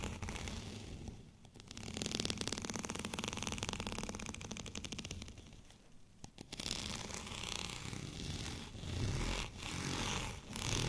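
Fingernails scratch over a white, bumpy textured plastic rolling pin, making dense, raspy, crackling scrapes. The scratching comes in long continuous passes that briefly fade around the second and sixth seconds, then resume in quicker strokes.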